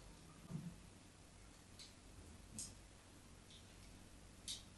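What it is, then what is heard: White bar soap. A craft knife tip scores the surface of a solid embossed white bar soap held under the hand. Three short, quiet scratches stand out, each a soft low thump with a bright, high scrape, over a faint steady low hum.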